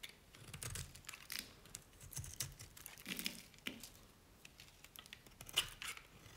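A utility knife blade scrapes and shaves flakes off the edge of a dry, cream-colored solid bar of Nevskaya Cosmetics soap. The clip is quiet, with bright, dry, crinkly scraping strokes in short irregular bursts, each one brief with no ring.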